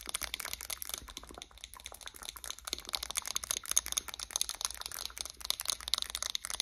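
Long acrylic nails tap and scratch the glass sides and metal lid of a wax-filled White Barn 'Champagne Toast' candle jar. The result is a quiet, steady stream of rapid, bright clicks and crisp scratchy crackles with almost no low end. Each tick is short and dry, without ringing.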